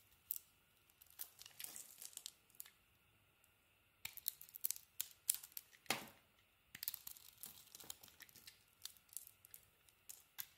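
A small metal blade carves crumbly chunks off a solid white bar of soap with a pink and gold painted coating, held in the hand. Crisp, bright scraping and crumbling bursts come in irregular clusters separated by quiet pauses, with a few sharper cracking cuts standing out.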